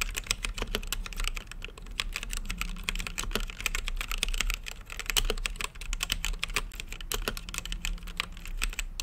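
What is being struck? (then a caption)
Mechanical keyboard with plastic keycaps and acrylic case. Fingertips type continuously on a plastic mechanical keyboard with plastic keycaps set in a translucent acrylic case. The result is a dense, steady stream of bright, sharp clicks, each dying away almost instantly, over a constant low hum.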